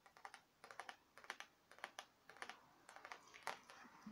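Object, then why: Thin printed tin wall sign. Long nails tap a thin printed metal "Pumpkin Spice Life" tin wall sign in quick, irregular clusters. Each tap is a quiet, bright, tinny click with a slight metallic ring centered around 900 Hz. The ring fades almost instantly.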